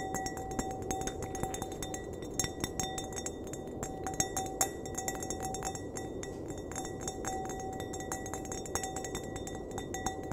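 Fingernails tap and flick the bowl of an empty, clear, hollow wine glass held upright by its stem. The result is a rapid, irregular run of short, bright clinks, each ringing briefly with a steady tone near 750 Hz and high overtones. A constant soft hiss sits underneath throughout.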